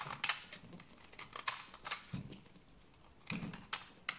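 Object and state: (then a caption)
Dry bar soap being shaved. A large, solid, dry tan bar of soap is held in the hand and shaved with a utility knife blade into curled flakes. Sharp, bright scraping rasps and crisp crackles come in quick bursts separated by quiet gaps, with a few duller low thumps in between.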